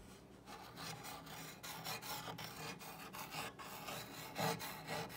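A long-nailed fingertip traces and scratches the painted letters of a solid, dark brown wooden plank sign reading "Love is the best ingredient" hanging on a wall, then the hand moves to the top edge of the sign. The strokes make a dry, raspy rubbing sound with a bright, scratchy edge, rising and falling in irregular passes, with a louder swell near the end.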